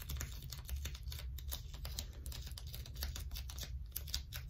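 A small crumpled wad of blue plastic sticky tape is pinched, peeled and rubbed by long stiletto nails held close up. Many quick, dry crackling ticks and soft tacky snaps run throughout over a steady low hum.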